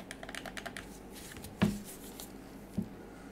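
Black-gloved fingers grip a hand-sized, dark grey plastic DualShock 4 controller with a hollow shell, pressing its buttons and tapping it. A run of soft, quick clicks comes first, followed by a louder hollow knock with a low thud and a shorter, quieter tap near the end.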